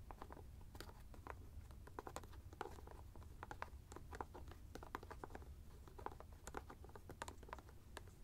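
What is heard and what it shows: Fingertips and nails tap and scratch a large white plastic screw cap on top of a teal fabric ice bag held in one hand. Many quick, light clicks and scratchy ticks scatter irregularly over a steady low rumble, each dying away almost at once.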